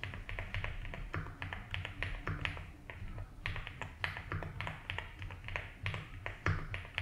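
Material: Plastic.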